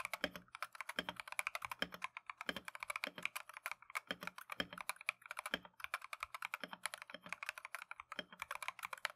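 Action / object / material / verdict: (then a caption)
tap / plastic mechanical keyboard / plastic / none. Gloved fingertips type continuously on a plastic Keychron V1 mechanical keyboard with Tangerine switches and green and cream PBT Matcha keycaps. The result is a rapid, steady stream of short, crisp, bright clacks that stop almost instantly, with a soft low thump under some of the strokes.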